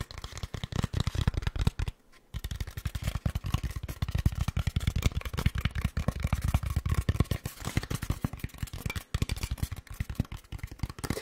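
Fingers tap continuously on a Styrofoam microphone packaging insert, producing rapid, sharp taps with a dull, low, hollow thud and almost no ring. A brief pause near two seconds interrupts the steady tapping, which otherwise keeps going throughout.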